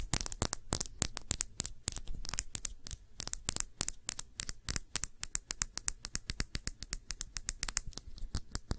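A round glass perfume bottle with a blue cap, partly filled with liquid, is scratched and tapped with long nails. The result is a rapid, uneven run of sharp, bright clicks and short scratches over a soft low thump, each tap dying away almost instantly.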